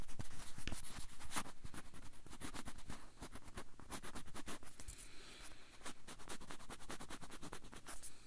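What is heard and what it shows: A whole banana is held upright next to a microphone while fingernails scratch and tap its peel. A rapid, irregular stream of short, crisp taps and scratches crackles from low thuds up to bright, high clicks, with a soft scratching texture between them. Each tap dies away almost immediately.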